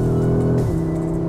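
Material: Nothing is struck.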